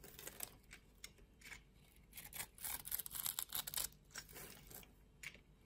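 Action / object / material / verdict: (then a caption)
scrape / bar of soap scored into cubes / soap / none. A utility knife blade scrapes the cubes off a solid pink soap bar that has been scored into a grid. The result is a quiet series of bright, dry scraping and crisp crackling bursts with almost no ring, growing thickest and loudest through the middle of the clip.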